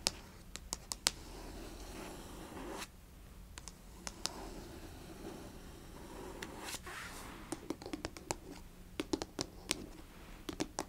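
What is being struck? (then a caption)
Small closed cardboard box. Long nails scratch and tap the front of a small, closed cardboard Fitbit Versa 3 box resting on carpet, and a hand briefly covers most of the box. Soft, continuous scratching runs underneath sharp, bright clicking taps that stop instantly, bunched near the start and again toward the end.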